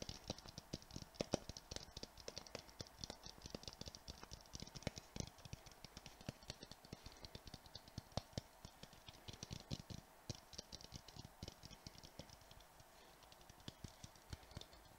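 A palm-sized clear hollow glass Christmas ball ornament with glitter inside is tapped fast with the fingertips and nails of both hands, close to the microphone. A steady stream of quick, dry taps and clicking nail ticks fills the clip, bright on top with a soft low thump underneath. Each tap stops almost at once with no lingering ring.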